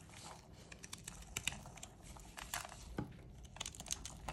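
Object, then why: Soap bar. A small metal blade scrapes and carves thin strips off a solid white, palm-sized rectangular bar of dry soap held in pink-gloved hands, with the shavings collecting on a wooden tray below. The sound is a steady, dry crinkling scrape broken by many short, crisp crunches and bright clicks, centered around 2.5 kHz, with almost no ring after each.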